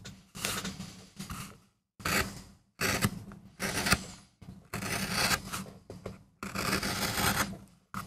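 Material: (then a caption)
MDF. A small, flat, solid MDF relief printing block with a rose carving is gouged and scraped with a wooden-handled steel tool while fingertips hold it steady. Bursts of dry, bright scraping and rasping rise and fade over a steady low hum, separated by short pauses between strokes.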